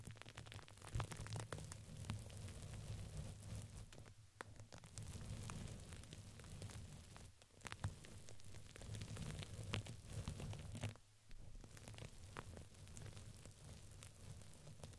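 Long pink fingernails scratch and rub a soft, hollow purple printed fabric ring with crinkly filling fitted around a microphone. Dense crinkling and scratchy rustles sit over a steady low hum, with brief pauses near 4, 7 and 11 seconds.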